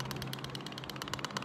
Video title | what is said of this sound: “SIMPANAN GAJI PERTAMA NAIK 88% !” | saya dapat version yang boleh goncang. Kira orang panggil version goncang lah. Bila kita goncang dia dengar